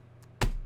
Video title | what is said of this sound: Ross Hamilton Fake Money ??? ( Connected Investors Scam ) | the real one hundreds you hear that sounds like paper